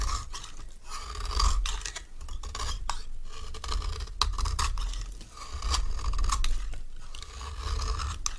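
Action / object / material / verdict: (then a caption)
scrape / bar of soap / soap / none. A palm-sized solid orange bar soap is shaved with a metal knife blade in short scraping strokes, and crumbly shavings pile on the bar and fall off. The clip is a steady run of dry, gritty scrapes, with a low rumble underneath and a papery texture on top.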